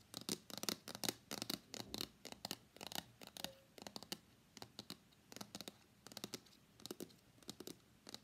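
Fingers tap and scratch the sides and face of a small, hollow, closed white cardboard iPhone X box held upright in both hands. The sound is a quiet, irregular run of dry, bright taps and scratchy rustles. Each one stops almost at once, with no ring.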